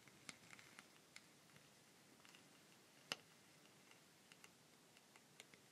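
Long pink nails tap and scratch along a long, hollow wooden rainstick with a rough, weathered surface. Crisp, bright ticks stand out over a soft, steady hiss, with one louder click near the middle. The taps are scattered, quiet and very short.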